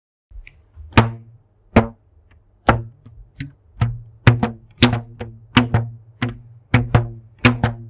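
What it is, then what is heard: Rubber band plucked. A thin purple elastic rubber band, stretched between two hands in front of a microphone, is plucked and snapped with the fingertips. A series of sharp snaps follows, each with a short, low twanging hum that fades quickly.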